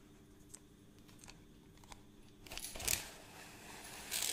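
A hollow plastic measuring tape reel case, held at the side, is scratched and handled by fingers working over the case and its crank. Faint, sparse ticks and taps in the first half give way to louder, bright scratching and rasping bursts toward the end.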